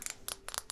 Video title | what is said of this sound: ASMR Follow My Lead or There Will Be Consequences - League of Legends Cosplay 🦋 | den ritmiske lyden av neglene mine som banker på denne glasskrukken